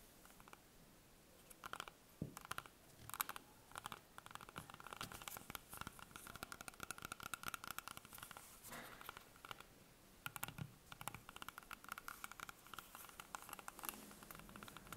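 A small, solid, whole green apple is held up in the hands and tapped and scratched on its skin with long painted nails. Quiet, rapid, dry clicking taps mix with soft scratchy rubbing, each tap dying away almost at once, with a faint tonal ring around 1.2 kHz and bright crisp edges.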